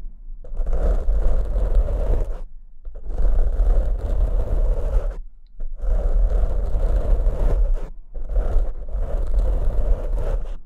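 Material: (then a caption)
Foam. Fingers with short nails scratch and grip the black foam windscreens on two microphones. Four long bursts of dense, rumbling scratching are heard, separated by brief silences, each a heavy low crunching with a rough midrange rasp.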